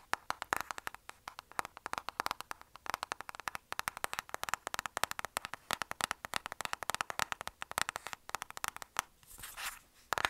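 Long nails rapidly tap a closed, flat, rectangular black cardboard lipstick palette box held upright. The result is a dense stream of short, dry, bright clicks with a papery tone around 1.4 kHz. Near the end, the tapping briefly gives way to a softer scratchy swell.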